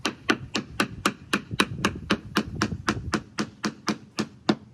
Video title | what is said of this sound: I spent TOO much on a Krusty Old Lobster Boat | it sounds not as sharp here versus